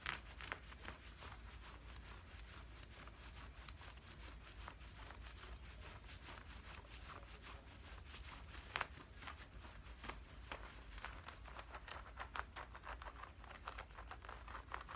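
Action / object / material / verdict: scrape / cotton cargo trousers / cotton / none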